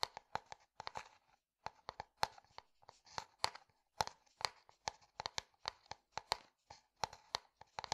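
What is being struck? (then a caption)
Plastic jar. Fingertips and nails tap and scratch a translucent plastic jar with a white lid. The result is a rapid, irregular run of sharp, dry, hollow clicks pitched around 870 Hz, with bright edges and almost no low end. Each click dies out almost instantly, and faint scratchy rustles fill the gaps.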